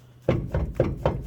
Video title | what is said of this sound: How to tell if U Joints are bad, and how to replace them! | there's a lot of play in here so rotate it around you see that and you can feel it